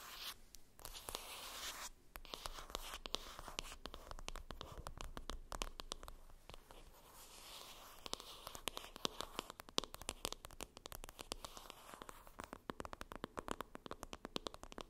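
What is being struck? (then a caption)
Cardboard palette box. Long acrylic nails tap and scratch the top of a hollow, flat rectangular printed cardboard palette box (Benefit Cheery Cheeks) lying on a fluffy surface. Quiet, rapid dry clicks mix with bright, scratchy rustling, each tap ending almost instantly with no ring, in a steady stream that grows busier near the end.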